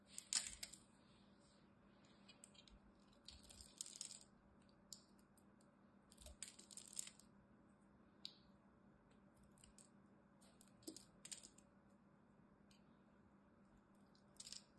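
A solid green dry soap bar, held in the hand, is scraped and scored with a metal blade. Short bursts of bright, crisp scratching and cutting come in scattered clusters, fading almost instantly. A faint steady hum sits underneath.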